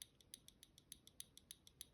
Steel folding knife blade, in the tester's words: you can flex this to hit either side, like hear that? Like you can't shake it and get it to rattle or anything like that.